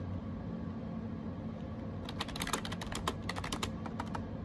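Bare fingertips type on a gray plastic AJAZZ 308i wireless Bluetooth keyboard with round plastic keycaps, shown close up. After about two seconds of a steady low hum, roughly fourteen quick, bright plastic key clicks follow in an uneven burst.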